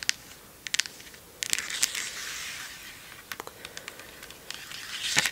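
Long acrylic nails tap and scratch the cap and body of a medium red Joico plastic shampoo bottle with a silver cap, which appears full. Sharp, bright clicks come in scattered bursts, with a stretch of soft, hissy scratching in between and almost no low end. Each tap dies away almost at once.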